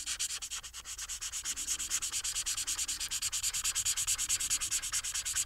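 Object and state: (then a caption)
Marker rubbing on paper. The fine tip of a white felt marker, held in the fingers, rubs back and forth over a thin, flat paper coloring sheet with a printed Harry Potter illustration lying on a table. About fifty quick, steady strokes produce a bright, dry scratching hiss with almost no low end. The strokes grow slightly louder as the rubbing continues.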